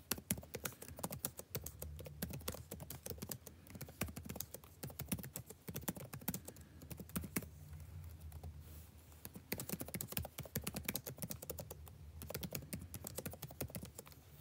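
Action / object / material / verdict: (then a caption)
tap / plastic laptop keyboard / plastic / none. Fingertips of both hands type fast on a backlit laptop keyboard with plastic keys. A dense run of short, sharp clicks plays over a steady low hum, thinning briefly near the middle before picking back up to the end.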